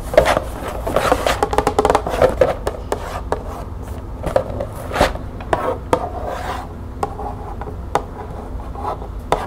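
Long painted nails scratch and tap across the surface of a small, hollow, printed cardboard box of green tea held in the hand. Dry rubbing scrapes mix with quick, sharp taps, many close together, and the hollow box gives them a papery, midrange knock around 600 Hz. Each tap dies away almost at once.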